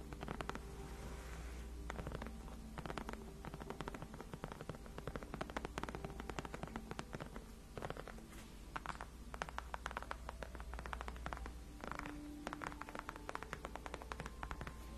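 Fingertips and long nails of both hands tap and scratch the white padded faux leather backrest of a gaming chair. Quick, dry clicks and soft scratchy rustles come in dense, uneven bursts over a steady low hum. The sound stays quiet and close throughout.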